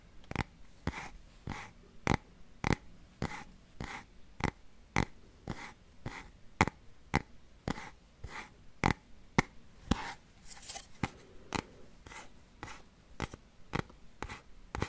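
Fingernails scratch and tap a small, hollow, printed cardboard Game Boy box. There are 25 sharp, dry taps in a steady but uneven rhythm, with soft scratchy rustling between them. Each tap is a quick, bright click with a faint hollow thud underneath that dies away almost instantly.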